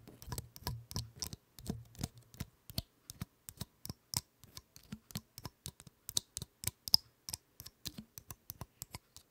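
Long acrylic nails scratch and flick the woody scales of a large, dry, open brown pine cone held in front of the mic. A rapid, uneven series of sharp, dry, bright clicks and ticks follows, each dying instantly with no ring, over a faint low hum during the first couple of seconds.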